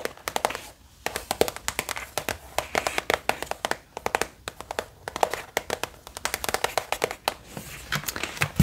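Long painted fingernails tap quickly on an opened, printed cardboard watercolor paint set box with a paint pan palette inside, held in both hands. Dozens of short, dry, clicky taps come in rapid bursts with brief pauses between them. Each tap dies away almost instantly.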